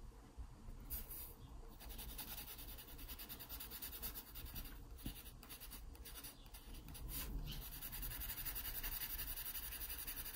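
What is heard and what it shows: A wooden graphite pencil draws curved shading strokes on a pear sketched on an open paper sketchbook page. The pencil scratches the paper with a soft, continuous, bright rasping texture over a low steady rumble. The scratching grows louder toward the end.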